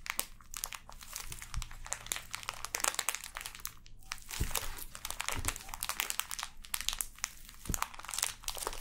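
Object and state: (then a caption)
Plastic-wrapped kinetic sand package. A full, sealed clear plastic package of pink kinetic sand is held and squeezed while long nails scratch and crinkle its plastic film. The result is a dense, continuous run of bright crinkling and scratchy ticks, with occasional soft low thumps from the squeezing. Each sound is dry and dies away almost instantly.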